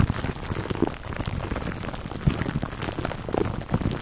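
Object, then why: Plastic cling wrap stretched over a foam microphone cover. Fingertips and nails scratch clear plastic cling wrap stretched over a black foam microphone windscreen. The result is a dense, low, crackling rustle of many quick scratches and crinkles with short sharp bursts, sounding a little like rain on a surface.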